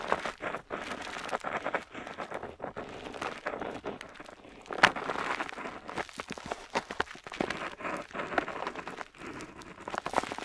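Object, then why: Metal pen nib on a paper sheet. A metal dip pen nib scratches across a flat paper map sheet while inking a coastline. It makes a steady run of dry, crinkly scratching strokes, bright and papery with almost no low end, pausing briefly between strokes. One sharper scrape stands out near the middle.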